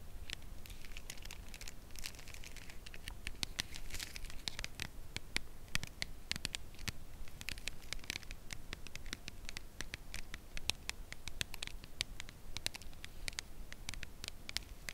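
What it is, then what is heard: Full cardboard chocolate box. A full red Lindor cardboard chocolate box is held and tapped with long nails on its edge and face. Many quiet, dry, bright clicks and scratchy taps come in a steady, uneven stream, each dying away almost at once. A faint crinkle, possibly from the foil inside, sits under a low background rumble.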